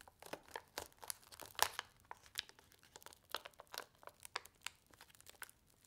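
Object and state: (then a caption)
Paper-foil soup sachet being crinkled. A single small, flat paper-and-foil laminated instant soup sachet filled with dry soup mix is held in both hands and bent and folded with fingertips and long nails. It makes a quiet, rapid series of sharp, bright crinkles and crackles with almost no low end, each snapping off instantly with no ring.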